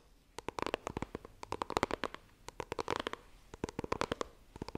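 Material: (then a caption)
Cardboard. A small, rigid, white printed cardboard iPhone retail box is held in both hands while long dark nails tap and scratch across its front face. The result is quick, uneven bursts of crisp, dry clicks with a hollow papery tone, each dying away almost instantly, separated by brief quiet gaps.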